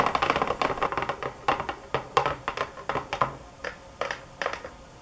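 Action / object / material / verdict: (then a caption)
tap / box / unknown / none. Fingernails tap hard and fast on a box, producing a rapid run of dry, clicky taps with a midrange knock and bright edges. The taps are dense and overlapping at first, then thin out into more spaced, separate strikes toward the end.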